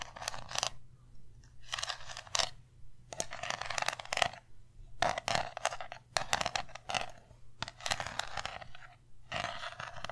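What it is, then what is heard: Small round metal tin. Long nails tap and scratch on the lid and white bottom of a small round metal tin, producing quick bursts of bright, clicky tapping and scraping with a slight metallic ring in the midrange. The bursts come in clusters separated by short pauses, over a steady low hum.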